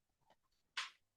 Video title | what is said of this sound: The Science Behind the Stove: How Data Drives Low Protein Living | it's totally solid. There's no splashing. There's no water.